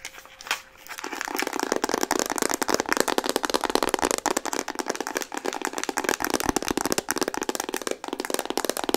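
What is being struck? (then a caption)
Plastic camera body. Fingernails tap rapidly on the hollow plastic body of a pink Instax Mini instant camera, producing a dense stream of crisp, dry clicks. After a quiet first second, the taps run fast and steady with almost no ring or low end.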